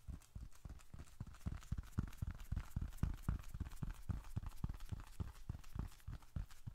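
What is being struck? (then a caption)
Leather bifold wallet. Fingertips drum rapidly on the leather surface of a small, closed, reddish-brown leather bifold wallet held in both hands, with paper bills and receipts inside. The result is a quick, somewhat uneven run of soft, dull, low-pitched taps, about three to four per second. Each tap stops dead with no ring, giving a muffled clip-clop patter.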